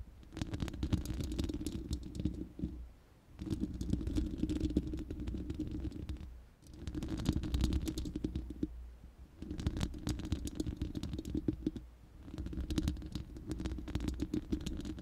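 Long manicured nails of both hands scratch and tap the uncovered, hollow round steel mesh grille of a large studio microphone, close up. Dense, crackly scratching comes in five waves separated by brief dips. It sits over a heavy, booming low resonance with a steady midrange hum.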